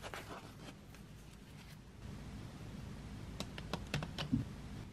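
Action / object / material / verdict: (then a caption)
tap / wooden graphite pencils in a tin tray / wood / none. Fingertips and long nails tap and scratch across a row of painted wooden graphite drawing pencils lying in an open metal tin tray. A soft, breathy scratching opens the clip, then quieter rustling over a low rumble, and sharp, bright ticks come through near the end.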